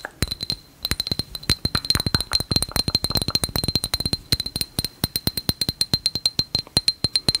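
A hand-sized, lightbulb-shaped glass jar with a metal cap, partly filled with small pebbles and fairy lights, is tapped on the glass with long nails and shaken so the pebbles rattle. Dense runs of sharp, very short clicks sound over a quiet background, with a bright glassy ring high above 2 kHz and a little low thump. The taps come in quick bursts with brief pauses between them.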